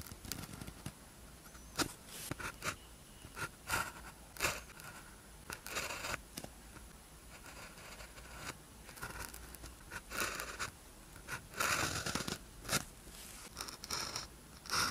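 A blue ballpoint pen tip scratches across a thin white paper practice sheet with a red grid, lying flat, as characters are written. Quiet, dry scratching and scraping strokes come in short bursts with bright, papery crackle between pauses.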